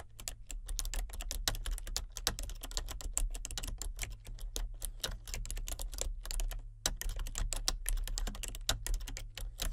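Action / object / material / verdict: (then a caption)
tap / plastic computer keyboard / plastic / none. Fingertips with painted nails type continuously on a full-size plastic computer keyboard with color-changing backlit keys. A dense, steady stream of short, bright plastic key clicks and taps plays over a constant low hum, with only a few brief pauses.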